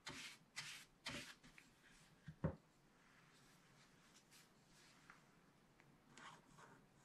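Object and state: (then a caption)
Scratch-art paper being scratched. A wooden stylus, held close in the hand, rubs and scratches the black coating off a scratch-art paper page in a spiral book. Bright, airy scratching strokes come in quick bursts over the first second and a half, followed by a sharper scrape around 2.5 seconds. After that it turns mostly quiet with faint rubbing and a soft stroke near the end.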